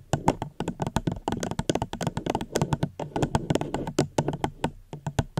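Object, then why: Plastic cup. A plastic cup is tapped gently right at the microphone in a quick, uneven run of short, dry taps. Each tap has a hollow low-mid knock with a faint bright click and almost no ring, leaving brief quiet gaps between bursts.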